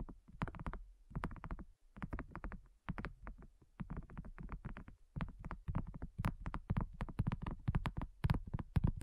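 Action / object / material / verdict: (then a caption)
tap / thin silicone coaster on a table / silicone / none. Long natural nails and fingertips of both hands tap a flat, round, pink silicone coaster with a dotted surface, thin and solid, lying on a dark table next to a recorder. The result is quick, uneven bursts of soft, dull, low taps with very short decay, broken by brief pauses and growing a bit louder and denser toward the end.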